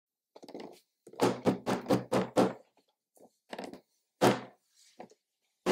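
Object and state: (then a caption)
Plastic toy packaging box. Gloved fingertips tap and knock on the lid of a medium, hollow pink plastic Na! Na! Na! Surprise! Teens Series 3 Keiko Koinobori toy box with a quilted glossy surface and a printed card on the front, then lift and handle it. The result is a run of short, dull, hollow thunks, mostly low-to-mid in tone, that die away almost at once, separated by brief pauses.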